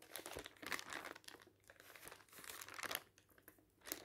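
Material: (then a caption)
Paper. Fingers quickly flip the pages of a folded, thin, glossy paper advertising leaflet resting on a table. Crisp, bright crinkling comes in quiet, uneven bursts with almost no low end, and the louder rustles are separated by brief near-silent pauses.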